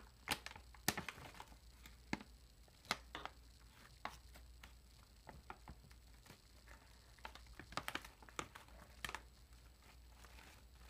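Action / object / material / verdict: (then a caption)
scrape / foil-lined plastic chip bag / metallized plastic / none. Fingertips and long nails scratch and crinkle along the sealed top edge of a large, air-filled, foil-lined metallized plastic potato chip bag as it is turned over. Quiet, scattered, sharp, bright crackles and ticks pop out over soft continuous rustling and a faint steady low hum. Each crinkle snaps off almost instantly with no ring.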